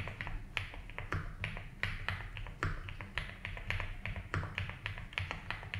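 Both hands type fast fingertip taps on a compact 75% mechanical keyboard with white and blue ABS plastic keycaps and a light blue plastic case, resting on a grey desk mat. The result is a quick, uneven run of short, bright clacks that die away almost at once, over a steady low hum.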